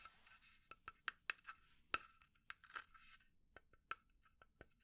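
A small hollow pine wood box held in the hand is scratched and tapped with long nails. Quiet, short, dry taps ring briefly with a woody tone around 1.3 kHz, mixed with bright scratching rasps. The taps fall in an irregular pattern, and about a dozen separate hits stand out.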